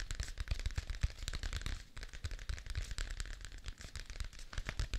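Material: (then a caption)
Paper, cardboard. A thick paper notebook with a blue cardboard cover, a solid stack of paper held upright, is tapped rapidly with fingertips and nails on the cover. The result is a dense run of dull, low thumps mixed with crisp, bright clicks from the nails, with a brief lull just before the two-second mark.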